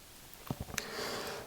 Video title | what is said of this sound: G-Shock GA-B2100C-9A 'Casioak Solar' Review | se senti il tintinnio qui, allora è decisamente un suono metallico